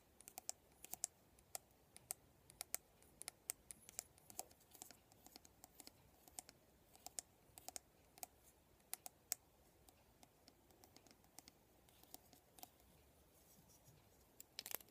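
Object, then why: Plastic vent hairbrush. Fingernails rake and flick through the rows of plastic pin bristles on a black plastic vent hairbrush. The result is a quiet, steady stream of rapid, dry, bright clicks and scratches that stop instantly, over a soft hiss.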